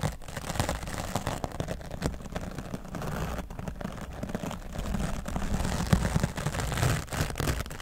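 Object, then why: Foam microphone windscreen. A grey foam microphone windscreen is brushed with an oval wooden bristle brush, first across the top and then along the left side. The result is a steady, close, low-heavy scratching and rustling with a dense run of quick stroke pulses and a few louder swipes near the end.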